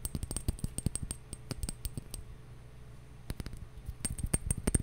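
A glass bottle is tapped, first in a quick run of short, clinking taps, then in a few slower ones. After a brief quiet pause, the rapid tapping starts again and grows louder toward the end.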